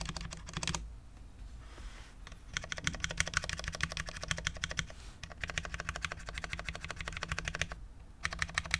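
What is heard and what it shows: A full-size low-profile Cherry MX10.0 mechanical keyboard with Cherry LP switches, dark ABS keycaps and a steel plate sits on a desk mat while fingertips of both hands type on it. Bursts of rapid, crisp clicky taps with a bright, short-lived clack are broken by brief pauses of quiet between typing runs.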